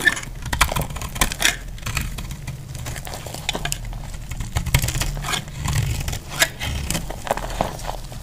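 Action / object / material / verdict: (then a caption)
scrape / soap bar cut and scraped with a metal blade / soap / none. A solid, dry yellow soap bar is held in the hand and cut and scraped with a metal utility blade. Crisp, dry scraping and crackling cuts repeat throughout, with sharp clicks over a steady low rumble.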